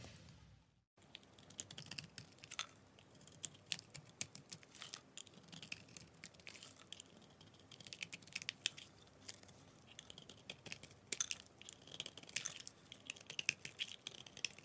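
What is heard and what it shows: A metal utility blade scrapes and cuts a solid cream bar of laundry soap with embossed lettering, held in the hand, breaking it into crumbly chunks. After a brief silent start, a steady run of quiet, crisp scraping and sharp crackling clicks follows, bright and dry with almost no low end. The soap comes away in crumbly pieces.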